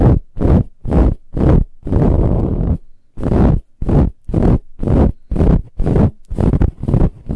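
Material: Fabric.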